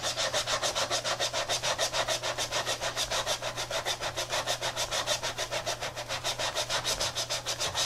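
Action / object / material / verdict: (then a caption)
scrape / textile and rubber sneaker / textile, rubber / none. A tie-dye Adidas textile and rubber sneaker lying on its side has its toe and midsole scrubbed with a wet brush by gloved hands, working up foam. Fast, steady back-and-forth strokes make a bright, bristly, wet rubbing hiss that pulses about three times per second, over a faint low hum.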